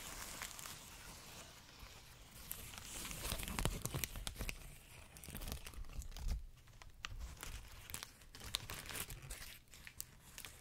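A long, clear plastic bubble wrap strip is held upright close to the mic while fingers squeeze, pop and crinkle it. Dense, bright crinkling runs throughout, broken by sharp, irregular pops and crackles over a soft low rumble.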